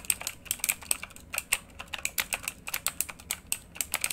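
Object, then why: Mechanical computer keyboard with plastic keycaps. Both hands type rapidly with their fingertips on a full-size RGB backlit mechanical computer keyboard with plastic keycaps on a hollow housing, lying flat. About two dozen sharp, bright clicks and clacks sound in quick, uneven succession. Each keystroke dies away almost instantly, with very little low end beneath them.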